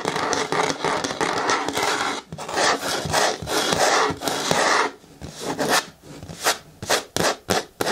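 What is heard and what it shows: Long nails on both hands scratch and rub the front side of a hollow, hard green plastic bin with a lid. A dense, bright rasping scrape runs for about five seconds, broken by one brief pause. It then gives way to quieter gaps and a string of short, separate scratching strokes.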